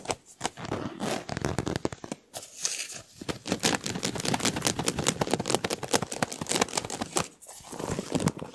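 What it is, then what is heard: Ribbed plastic duct tube, tapped and scratched. A large, hollow, empty white flexible plastic duct tube with a ribbed surface is held by hand while fingertips tap and scratch along its ribs. The result is a dense run of quick, dry clicks and crinkly scrapes with a slightly hollow tone, bright on top and with brief pauses around two, three and seven seconds.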